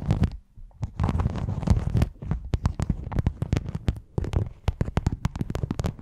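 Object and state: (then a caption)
Rhinestone mesh sheet. Long nails scratch and tap across a thin, flat, flexible silver rhinestone and sequin mesh sheet draped over a foam microphone. The result is a dense, close run of deep, muffled thumps and rustling scrapes, broken by many short, sharp clicks that flash bright and die away almost instantly.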